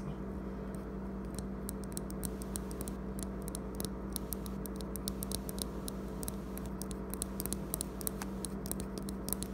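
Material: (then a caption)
Metal, glass. Fingertips tap and scratch along a small, solid handheld e-cigarette, a metal vape mod with a metal tube body, a printed blue graffiti wrap and a clear glass tank partly filled with amber liquid, lying on a wooden table, working near the button and tank. Many quick, light, dry ticks and scratchy clicks with very short ring sound over a steady low hum pitched around 200 Hz.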